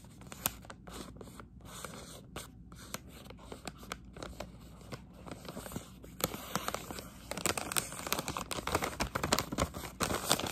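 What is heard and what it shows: Long acrylic nails scratch and crinkle a Halls Defense plastic pouch of cough drops, giving quick, irregular crackling scrapes with bright, sharp edges. The crinkling starts soft and grows busier and louder after about six seconds.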